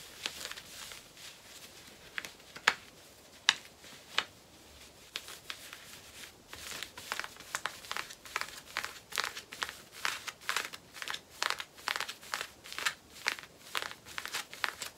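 Long fingernails on both hands scratch the waistband and back pockets of worn black cotton denim jeans. Dry, bright, raspy scratching strokes come sparse and separate at first, with a few sharper hits, then grow denser and more rhythmic. The strokes have almost no low end and stop short with no ring.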